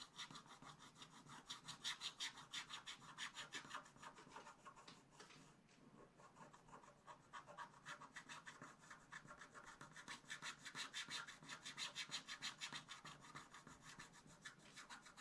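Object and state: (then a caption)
Scratch-art paper being scratched with a stylus. A wooden stylus scratches rapid, repeated strokes into a black-coated scratch-art paper page in a spiral book, near the teapot motif. The sound is a dry, bright rasping at roughly three strokes per second, with no ring after each stroke. It eases off and softens for a moment around the middle before the strokes pick back up.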